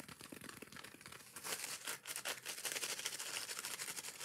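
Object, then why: Foam kitchen sponge with abrasive scouring pad. Long nails rapidly scratch the green abrasive scouring layer of a hand-sized yellow foam kitchen sponge. The result is a dense, bright, rasping scratch made of quick, uneven strokes with almost no low end. It starts softer and grows louder after about 1.5 seconds.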